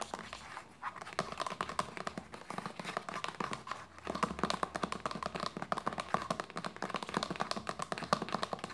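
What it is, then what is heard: Plastic lotion bottle. Long nails tap fast on a hollow white plastic lotion bottle lying label side up on a blanket. The dense, rapid clicks carry a hollow tone around 1.2 kHz, and each one dies away almost at once.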